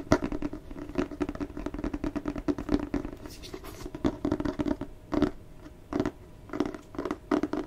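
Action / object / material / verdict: scrape / cloth-bound hardcover book / cloth, board / none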